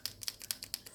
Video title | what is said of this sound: How to color Disney Mystery books - PART 1 | yes, that's the sound you wanna make